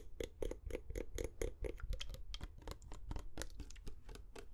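A medium glass perfume bottle with a metal cap and amber liquid inside, held close to the microphones, is tapped with short fingernails. A quick, steady series of crisp, dry clicks rings with a faint glassy tone around 450 Hz and dies away almost at once.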